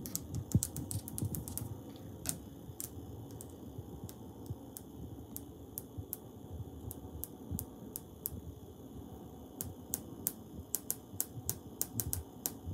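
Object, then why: Ceramic wall tiles. Fingers tap and scratch on tiles on a wall, with lines traced over the surface. Quick, sharp clicks with bright, crisp tops come in a dense flurry over the first second and a half, then spread out into scattered single taps. A soft, low scratching rustle continues underneath throughout.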